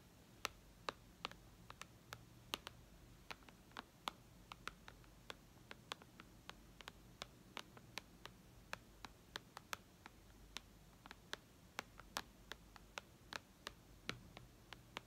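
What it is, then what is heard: Glass tablet touchscreen tapped with fingernails. Long red nails tap on the glass screen of a white iPad lying flat, making about 48 quick, sharp clicks spread unevenly over fifteen seconds. Each tap is a bright, very short tick that dies away almost instantly, over a faint low hum.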